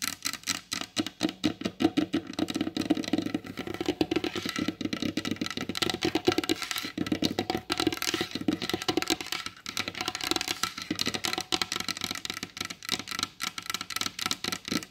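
Long pointed blue acrylic nail tips tap quickly with both hands on a large solid varnished wooden table. The result is a dense, continuous patter of short, dry clicks with a woody body around the low mids and a bright, crisp edge, each tap dying away almost instantly.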